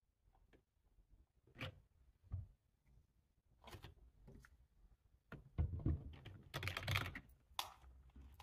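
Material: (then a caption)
Plastic. One hand types with its fingertips on a black, low-profile plastic computer keyboard with a hollow body, resting on a table. Soft key taps come at an uneven pace, each a short hollow low thud with a bright click. The taps grow louder and bunch together in a denser flurry over the last few seconds.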